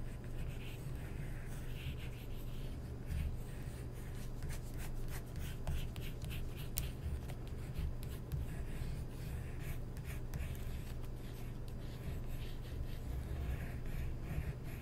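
A wooden stick scratches and traces lines over the surface of an open glossy paper magazine spread while fingertips rest on the page. Steady, soft scratchy rubbing runs throughout, with faint bright ticks over a constant low hum.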